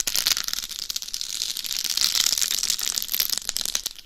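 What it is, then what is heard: Rhinestone-covered dummy head scratched with nails. Long nails scratch a life-size hollow mannequin head binaural microphone covered in rhinestones, moving from the face to the top and upper sides of the head. The result is a dense, continuous stream of bright, crisp scratching and clicking over the rhinestones, with almost no low end.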